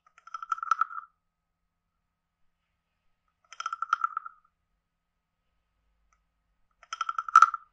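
A wooden stick taps and scrapes a hand-sized, carved, hollow wooden frog guiro with a ridged back. It gives three separate bursts of rapid, dry, woody clicks and rasps, centered around a hollow mid-pitched tone near 1.4 kHz. The last burst is the loudest.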